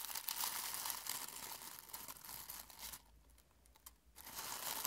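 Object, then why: Dried rose petals in a glass bowl. Fingertips dig into a small clear glass bowl of dry, brittle rose petals held in one hand, crumpling and rubbing them. A dense, bright, crinkly crackle fills most of the clip, fades to a faint rustle for about a second near the end, then swells back up.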